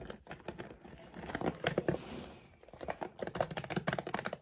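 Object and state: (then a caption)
Plastic dog food bag. Long nails tap and scratch the glossy back side of a large laminated plastic dog food bag. Quick, dry crinkling taps come in rapid bursts, with a softer stretch of rustling scratching in the middle.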